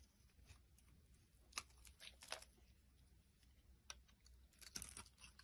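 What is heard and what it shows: A metal blade carves and scrapes a hand-sized, solid, translucent red bar of soap held in the hand, breaking off brittle pink flakes. Quiet, bright, crisp scraping and crunching is heard, with a few sharp, dry cracks that stop instantly, over a faint low hum.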